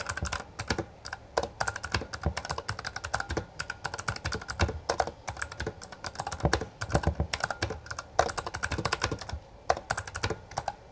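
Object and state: Plastic mechanical keyboard.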